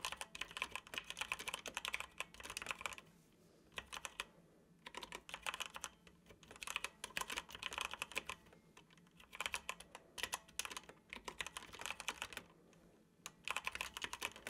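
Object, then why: Plastic computer keyboard. Fingertips of both hands tap the keys of a dark plastic computer keyboard while typing, producing quick, bright, dry clicks. The typing comes in bursts separated by short pauses, with each click dying away almost instantly.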